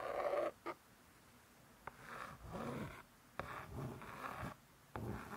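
Slow, breathy scratching swells and fades in several passes, with a few short dry clicks between them. A fingernail drags across a laminated board cookbook cover. The smooth coated board gives a soft hiss rather than any ring.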